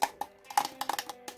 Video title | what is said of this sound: McFarlane Toys: DC Multiverse - Clayface (Rebirth) | it sounds hollow and that's because it is hollow